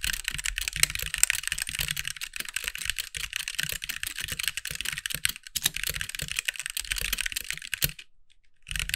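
Fingertip typing with both hands on a compact backlit mechanical keyboard with white plastic keycaps gives a fast, steady stream of sharp, bright plastic clacks over a soft low thump. The typing pauses into near silence around the eighth second, then picks up again at the end.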